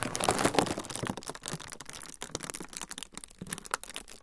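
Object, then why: Thin frosted plastic sheet. A thin, flexible, semi-translucent frosted plastic sheet is crinkled with fingertips in front of the recorder. It makes a dense, irregular stream of bright, dry crackles and snaps, loudest in the first second and then settling into softer, scattered crinkling.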